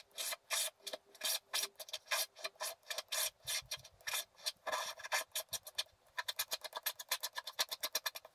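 A wooden stylus scrapes large areas of black coating off a flat scratch art paper card, leaving many flakes. Dozens of short, dry, bright rasping strokes follow one another, slower and longer at first, then quicker and more clipped toward the end.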